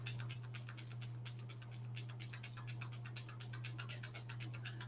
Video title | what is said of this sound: Wake Up and Makeup: Tanning Tonic is great for Fall | now i can hear it really moving it's mixing all the pigment